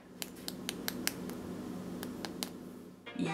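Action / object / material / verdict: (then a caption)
tap / chocolate tuile wafer / baked wafer / crisp. Chocolate tuile wafers, baked an extra 5 minutes at 170°C until golden brown on top and back, then left to set and crisp up, are tapped to make a series of light, sharp clicks over a steady low hum. The clicks come in two groups, about six and then three, and a louder, broader rustle comes in at the end. The crisp clicking shows the wafers are crisp and properly set.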